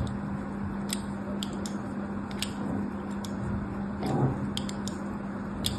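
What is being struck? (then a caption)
Bar of soap scratched with a metal needle. A solid rectangular pink bar of soap, held in one hand with long orange nails, is scratched repeatedly with a thin metal needle-like tool while other soap bars lie still in the background. Short, bright, crisp scratching ticks sound at irregular intervals over a steady low hum and soft background hiss, with one slightly louder scraping pass near the end.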